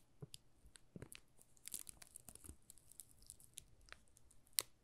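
A solid pink Marseille soap bar wrapped in thin plastic film is held in both hands while fingertips and short nails rub and crinkle the film. The result is a quiet run of bright, dry crackles and crinkles with soft low thumps, ending with one sharper snap near the end.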